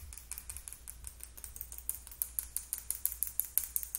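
A small clear plastic Sally Hansen lip gloss tube with purple gloss and a silver cap is held in both hands and tapped quickly with long acrylic nail tips. About 23 sharp, bright clicks with almost no ring follow one another in a fast, steady rhythm, growing louder toward the end over a low, constant hum.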